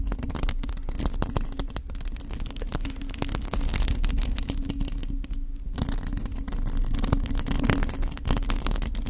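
Long acrylic nails on both hands scratch the hollow metal mesh grille of a black studio microphone, with no foam or fluffy cover on it. Dense, rapid scratching and scraping comes through as a steady, heavily low-end rumble with faint bright crackle, easing briefly a little past the halfway point before continuing to the end.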